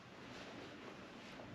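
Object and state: Nothing is struck.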